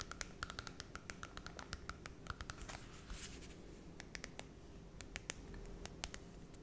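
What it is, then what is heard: Glossy cardboard children's book. Long red nails scratch and tap the glossy holographic cardboard cover of a small Cinderella children's book. Quick, sharp, bright clicks ring briefly in steady runs, broken around the middle by a soft, airy scratching rasp over a faint low hum.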